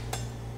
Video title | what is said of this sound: Osso Buco | it should sound hollow when you tap it